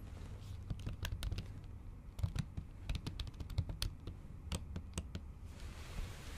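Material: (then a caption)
Silicone. Long acrylic nails type in Japanese on a MacBook keyboard under a pink silicone cover, producing a quick, irregular stream of sharp, clicky taps that die away almost instantly. The taps sit over a steady low rumble that carries most of the clip's energy.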